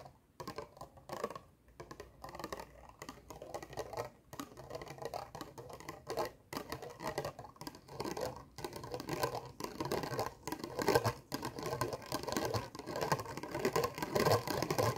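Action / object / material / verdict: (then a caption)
scrape / small round plastic compact case / plastic / none. A small black plastic round compact case is tapped and scratched quickly with long nails. Dense, irregular clicky taps and dry scratching sit mostly in the midrange, with short, dead hits and little ring. The pace and loudness build toward the end.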